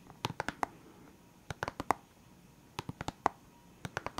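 Fingertips and nails tap on the lid of a clear hard plastic box full of felt-tip pens. The taps come in four quick bursts of sharp, dry clicks with a hollow plastic tone around 800 Hz and almost no ring. Quiet pauses separate the bursts.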